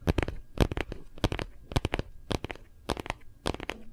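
A phone in a hard plastic Kate Spade case, gripped in both hands, is tapped rapidly on the back with fingertips and nails. Quick clusters of dry, clicky taps repeat about every half second, with a low, hollow knock under bright, crisp edges. Each tap dies away almost instantly.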